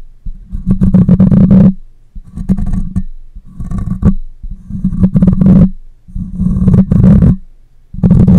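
Long nails and fingertips scratch and rub the hollow metal mesh grille of a black condenser microphone. The result is loud, close, low rumbling and scraping bursts with a booming, hum-like tone. The bursts are separated by brief quiet gaps.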